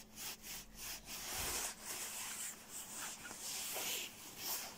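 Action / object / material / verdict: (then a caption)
scrape / quilted nylon down jacket / nylon / none. Fingertips scratch and rub the shell of a dark, quilted, soft-padded nylon down puffer jacket. The result is a steady, bright, hissy rustle that swells and fades in uneven strokes, with almost no low end.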